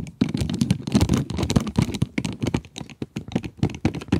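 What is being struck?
Cardboard pencil box with a plastic window.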